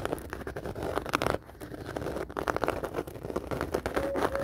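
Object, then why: Woven faux leather handbag. A medium round black handbag with a woven faux leather surface, hollow and appearing empty, is scratched and tapped with long dark-painted nails and fingertips. Dense, crackly scratching mixes with soft, short taps, with a brief quieter pause near the middle and a faint high tone toward the end.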